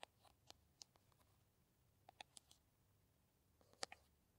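A small, soft-walled green plastic Kamill hand cream tube is held in both hands while long nails tap and scratch its surface and cap end. Sharp, dry, bright clicks come in scattered clusters over faint scratching and near-silence, each one dying away almost instantly, with the loudest near the end.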